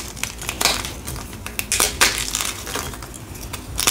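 A single solid white, palm-sized block of gym chalk (magnesium carbonate) is held in both hands and squeezed and crushed by the fingers and thumbs over a pile of chalk powder. The result is a run of crisp, bright crunches and crackles, mostly high in tone with little low end. Each crunch dies away quickly.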